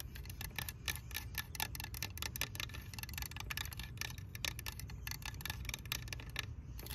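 Long fingernails tap quickly across a green hollow plastic toy tractor, striking the hood, the orange part and the area near the wheel. The result is a dense run of short, bright, dry clicks with almost no ring, over a steady low rumble.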